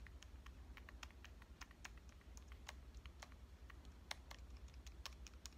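Long dark nails tap quickly across the metal-finish front and lens ring of a small pink Canon compact camera, a hollow device held upright. Each tap is a short, bright click that dies away almost at once. The taps come in a steady, irregular patter over a quiet low hum.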